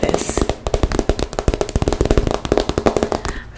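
A pink transparent PVC makeup pouch with a zipper is held in the hands and tapped and scratched with long nails. The result is a rapid, irregular run of short, dry clicks and crinkly plastic rustles, mostly low in tone with a bright hiss near the start.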